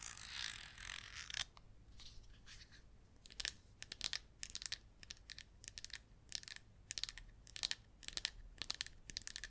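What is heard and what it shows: Long red acrylic nails tap and scratch a small red plastic jar of baking powder with a red screw-on plastic lid, hollow and filled with powder. A dense, bright scratching rasp lasts about a second and a half, then gives way to a quick series of sharp, crisp taps and ticks. Each one is high and dry, dying away almost instantly.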